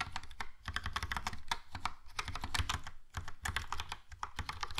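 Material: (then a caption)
Plastic. A compact, hollow Logitech POP Keys mechanical keyboard, with a yellow plastic case and round black and grey plastic keycaps, is typed on with fingertips. A quick, steady stream of clacky typing taps is heard, each with a bright click over a low thock, dying away almost at once with only brief pauses between bursts.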